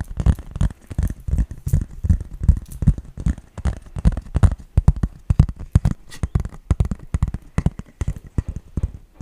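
A green, flat, hollow-backed, hand-sized plastic toy brick baseplate with raised studs is tapped with fingertips and nails. The result is a quick, irregular flurry of short, dull low thuds mixed with brighter clicky nail taps that die away almost instantly.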